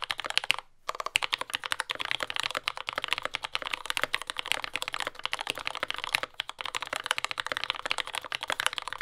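A compact mechanical keyboard with lubed yellow Gateron Ink switches, dark brown plastic keycaps and a carbon fiber plate sits on a desk mat and is typed on continuously with the fingertips of both hands. The clip is a steady stream of short, bright, clacky keystrokes with almost no low end, broken only by a brief pause near the start.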